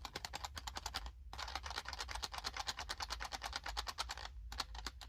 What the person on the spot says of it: That is the sound of graham crackers and the s'mores